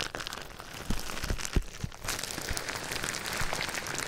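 Clear plastic bubble wrap wrapped around a binaural microphone is rubbed, scratched and squeezed by fingers. It makes a close, continuous crinkling and scratching rustle with a few soft low thumps. The crackle turns denser and brighter in the second half.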